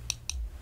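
Two light taps on a pair of eyeglasses being worn on the face, each a short, bright click with almost no ring. A faint low hum sits beneath the clicks.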